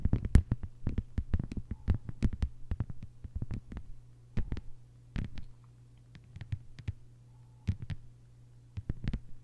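Long white-polished nails on both hands tap a thin, solid, flat lime-green plastic cutting board lying on a table. Dozens of quick, dry, clicky taps come in uneven bursts with brief pauses, each dying away almost instantly. A steady low hum runs underneath throughout.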